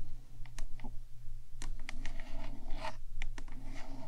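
Long nails on both hands tap and scratch the top of the black, hollow metal box of a 3Dio microphone. Quick, dry clicks and bright scratchy strokes come in an irregular stream, each dying almost at once, over a steady low hum.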